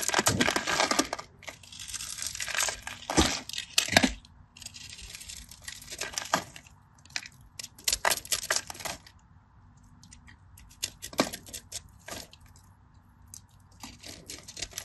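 A craft knife blade scores lines into the surface of a palm-sized, solid white-cream bar of dry soap held in the hand. The result is crisp, bright, dry scratching and crunching: dense and loud for the first few seconds, then sparser, quieter scrapes separated by short pauses.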